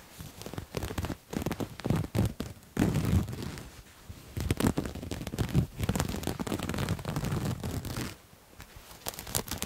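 A soft purple-and-white patterned cloth garment, bunched up and held in front of a microphone, is scratched with fingernails. Irregular bursts of dry scratching and rustling come in quick strokes, mostly low and muffled with faint bright crackle, and pause briefly between passes.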